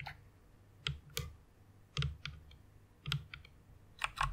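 Fingertips with long red nails press and tap the keys of a full-size white plastic mechanical keyboard resting on a pink pad. About ten sharp, clacky keystrokes sound in irregular bursts, each with a bright click over a low thock that dies away almost at once.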